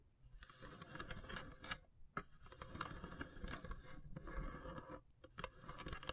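Long silver nails rapidly tap the lid of a long, hollow, carved wooden incense box. The result is a quiet, dense patter of short, dry clicks with a low woody body and a bright edge. The tapping pauses briefly a few times before resuming.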